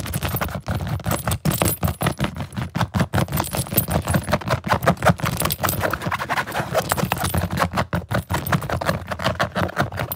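Fingertips rapidly scratch the nylon fabric and zipper teeth of a large, hollow green Samsonite soft-shell suitcase with zipper pockets and leather trim, and quickly work its zipper pull. The result is a dense, fast, irregular run of dry scratches and short clicky rattles with a hollow, low-heavy body and little high sparkle, continuing steadily without pause.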